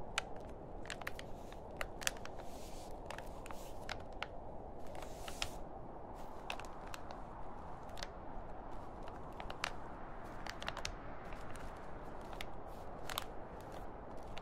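Fingertips and nails scratch, tap and crinkle the film surface of a large, thin, grey printed plastic shopping bag that lies empty and flat. Sharp, bright crackles and clicks scatter over a steady, low, rustling hiss at a quiet level throughout.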